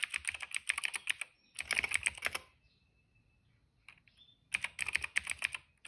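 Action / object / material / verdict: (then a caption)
tap / plastic mechanical keyboard / plastic / none. Both hands tap quickly with their fingertips on a retro-style cream plastic mechanical keyboard with black, purple and yellow keycaps, resting on a rug. Three bursts of fast, crisp, bright clacking are separated by near-silent pauses, with each keystroke short and dry with no ring.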